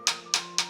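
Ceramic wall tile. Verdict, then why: Solid. Three sharp taps on a ceramic bathroom wall tile give short, bright clicks that die away quickly. The tone is solid, meaning this spot is firmly bonded, not hollow.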